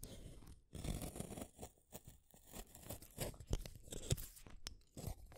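A blue wooden colored pencil, with a solid wood casing around a pigment core, is held in the fingers and shaved by a small metal blade in a yellow holder. Short, dry, crunchy scraping strokes come one after another with brief gaps between them. Each stroke peels the wood off in curls.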